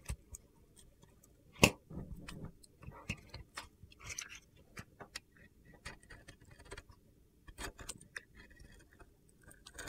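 A metal box-cutter blade scrapes and carves the surface of a solid, palm-sized pink and blue glitter bar of soap scored with a grid. The clip has quiet, crisp scratching and gritty ticks with brief bright clicks, including one sharper crack near the start.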